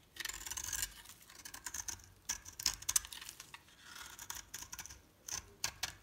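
A metal blade scrapes and shaves thin curls off the top of a solid light-green soap bar with a pink bottom layer, held in the palm. The result is a quiet, bright, crackly scraping in uneven bursts, with short sharp flicks standing out around the middle and near the end.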